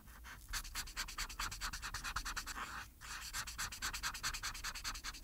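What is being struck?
Paper sheet under a felt-tip marker.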